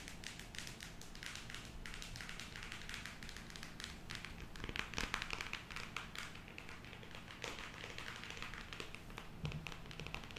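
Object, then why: Cardboard eyeshadow palette. A closed square cardboard eyeshadow palette with a printed cover, held in both hands, is tapped rapidly with long acrylic nails. The result is a dense, continuous patter of short, dry clicks with bright edges and soft low thuds underneath, with a few slightly louder taps along the way.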